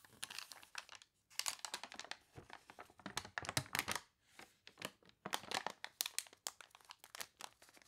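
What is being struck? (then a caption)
Glossy paper catalog. A hand flips and crinkles the pages of a water-wavy glossy paper toy catalog while long nails tap and scratch across the paper surface. Dense, bright, crisp crackles and rustles come in bursts with brief pauses, and the sound has very little low end.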